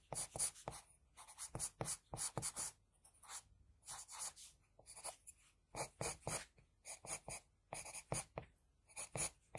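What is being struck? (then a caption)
Graphite pencil on drawing paper. The graphite tip of an HB wooden pencil makes short hatching strokes on a flat sheet of drawing paper holding a pencil sketch. Around thirty quick, bright, dry scratches come in uneven bursts, with brief pauses between groups. Each stroke stops almost instantly, with no ring.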